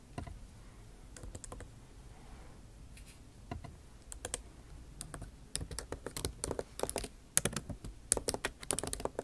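Long nail tips type on a backlit MacBook Pro keyboard with plastic keycaps set in an aluminum body. The result is a run of sharp, dry, bright clicks with almost no ring. The clicks start sparse and quiet, then grow into faster, louder clusters in the second half.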